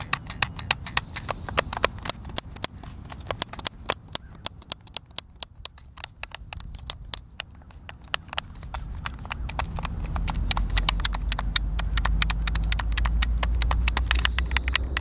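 A white, hand-sized, hollow plastic Xbox controller is held in both hands over a wooden picnic table while fingertips and thumbs repeatedly press and click its buttons and sticks. Rapid, sharp, bright plastic clicks come in an uneven stream of about four per second. A low background rumble grows louder in the second half.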